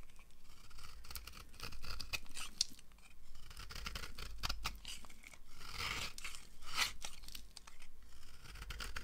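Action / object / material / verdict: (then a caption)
scrape / bar of soap cut with a knife / soap / none. A red-handled knife blade carves a solid yellow oval bar of dry soap with embossed letters, shaving off crumbly curls. Dense, dry scraping and crisp crackling cuts come in quick bursts with bright, hissy highs over a low rumble.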